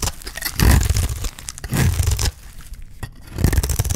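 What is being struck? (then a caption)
Olive soap bar. A solid rectangular bar of dry green olive soap, held in the hand, is shaved and cut with a utility knife blade, sending curls of soap peeling off onto a pile of shavings. Three loud strokes sound as dry, crunchy, tearing scrapes with a heavy low rumble, separated by quieter, fine scratching.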